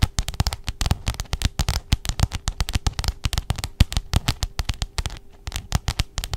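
Long jeweled nails tap and scratch the glossy pink cover of a letter-size spiral-bound notebook held in front of the microphone. The result is a rapid, dense stream of sharp clicky taps with deep thuds, with a brief lull near the five-second mark before the tapping resumes.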